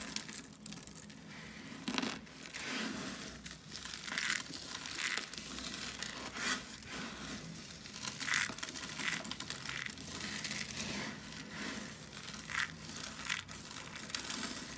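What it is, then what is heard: Dry soap flakes being crushed. A pile of dry, brittle shaved soap flakes, red and pale green, on a wooden surface is scooped and squeezed in both hands with long lilac nails. The result is a steady run of bright, dry crunching and crinkling, with louder crackling bursts standing out along the way.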